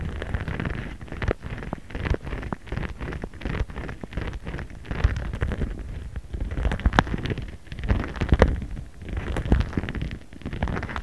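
A jade roller is rubbed and rolled back and forth in different spots across a transparent pink printed plastic pouch lying flat and held with one hand. A steady, dense crinkling and scratchy rustle runs throughout, dominated by low thumpy rumble and peppered with quick sharp ticks and brief louder swells.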